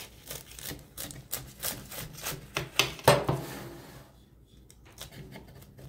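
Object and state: Crispy baked phyllo börek.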